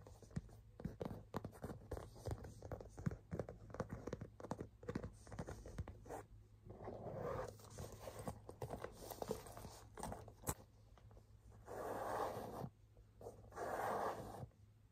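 Fingernails scratch and tap rapidly on the front of a burgundy pebbled-leather handbag with a chain strap, making a dense run of short, dry, muted clicks and scratchy strokes over a faint low hum. Later, a hand grips the top of the bag, producing softer, longer rustling swells between sparser taps.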